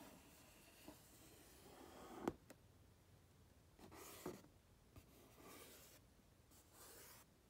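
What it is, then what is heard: Cardboard box. Fingertips tap and rub across the flat front face of a medium-sized printed cardboard retail box for a three-light bathroom vanity fixture, which appears to still hold the product. Soft, dry brushing and scratching sounds are broken by three short, dull taps, the sharpest one near the middle. The overall level is quiet, with little low rumble or bright hiss.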